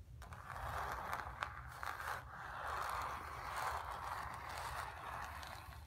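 Long nails scratch the dark lower area of a stretched, painted cotton canvas with a hollow back. A steady, dry, papery rasp centers in the midrange, rising and falling in strokes, with a few sharper clicks standing out.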